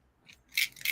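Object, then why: Plastic pill bottle with pills. A pill bottle with pills inside is shaken by someone about to take their medicine, giving two quick bursts of bright, high rattling that show the bottle holds pills. A faint rattle comes before the two louder shakes.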